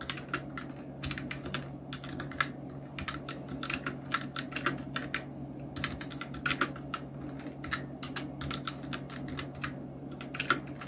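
Fingertips of both hands type on a full-size black Nubwo Illution NK-70 mechanical keyboard with Outemu red switches, round plastic typewriter-style keycaps and blue backlight, resting on a white desk. Rapid, continuous keystrokes make short, bright plastic clicks and clacks with almost no ring, over a steady low hum.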